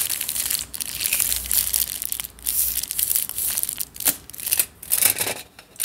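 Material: Aluminium foil.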